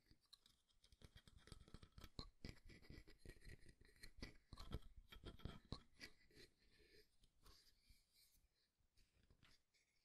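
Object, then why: Jointed wooden artist's hand model. Fingernails scratch and stroke the palm and fingers of a solid, jointed, life-sized wooden artist's hand model. The result is quiet, dense scratching made of many short, dry ticks with a soft low thud beneath and a bright, papery rasp on top. It grows somewhat softer and sparser toward the end.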